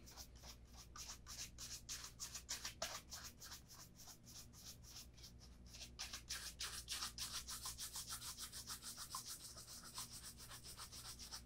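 A brown leather Vass Austerity Brogue oxford shoe, held in the hand, is brushed rapidly with a bristle brush along the upper and the welt near the leather sole. Quick, regular back-and-forth strokes make bright, hissy swishes over a faint low steady hum.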